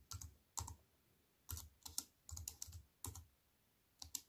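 Fingertips with long white nails type quickly on a compact plastic computer keyboard with black plastic keys on a silver aluminium frame. Short bursts of bright, crisp key clacks over a soft low thump are separated by brief pauses, and each click dies away almost instantly.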